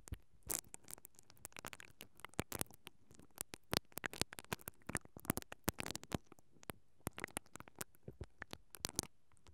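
A single mascara brush with black plastic bristles, held by fingers with long dark nails, is rubbed and scratched along a hollow, perforated metal mesh microphone grille. Quick, dry, crackling strokes come in irregular bursts that spread from a low rumble up to bright, hissy highs. Each one cuts off instantly with no ring, over a quiet background.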